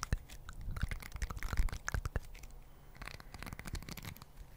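Two small round green plastic or silicone scrubber pads covered in soft spikes, one held in each hand close up, are squeezed and rubbed with the fingertips. This makes dense, crunchy scratching with many sharp clicks over a low rumbling bed. The bursts thin out toward a quieter, steadier rustle.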